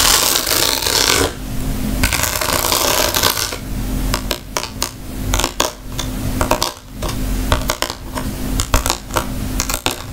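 A round woven rattan wicker bag is tapped and scratched with long nails across the weave. Bursts of dry, bright scratching rasp over the woven surface, then give way to many sharp, irregular clicks and taps with almost no ring, over a low steady hum.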